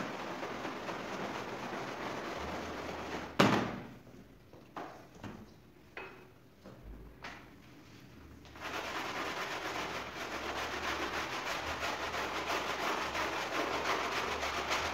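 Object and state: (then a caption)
Woven fabric rug being scrubbed wet. A small, flat woven fabric rug with an ornate pattern lies soaked and covered in soap foam on a tiled floor. It is scrubbed with a long-handled bristle brush, then rubbed back and forth with a yellow sponge by a gloved hand. Steady, bright, wet scrubbing breaks off at a sharp knock followed by four softer taps and a near-quiet pause, then dense wet rubbing resumes and continues to the end.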